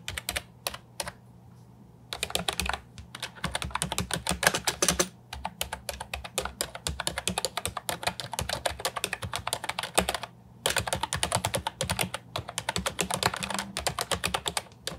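Fingertips of both hands type on a compact Ajazz 308I plastic keyboard with round typewriter-style keycaps resting on a wooden desk. Rapid, bright, clacky keystrokes come in bursts, with brief pauses near 2, 5 and 10 seconds. A faint low hum sits underneath.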